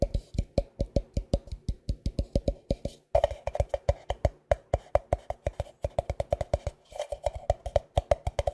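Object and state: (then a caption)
Plastic cream tub. A medium white plastic tub of moisturizing cream with a Cetaphil-style label, likely filled, is held in one hand and tapped rhythmically by the fingertips and nails of the other. The result is about fifty quick, dry, hollow knocks with a low thump and a tone near 590 Hz. The knocks die away almost instantly and come in steady runs separated by brief pauses.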